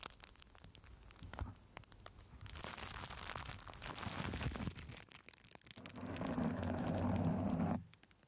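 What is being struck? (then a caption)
Plastic bubble wrap. Fingers with long nails crinkle, press and scratch green plastic bubble wrap placed over a microphone. Dense crackling and crinkling swells into a bright, rustling wash, eases off, then builds into a louder, bass-heavy rubbing scratch before cutting off abruptly near the end.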